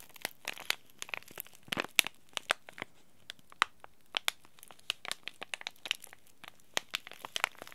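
A small green laminated plastic-foil tea bag packet is held in both hands and squeezed and crinkled by fingers and short nails. It makes an irregular series of sharp, bright crackles and crinkles with very little low end, each snap dying out almost instantly against a quiet background.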